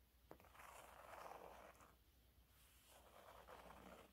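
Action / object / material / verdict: scrape / textured fabric cleaning cloth / fabric / none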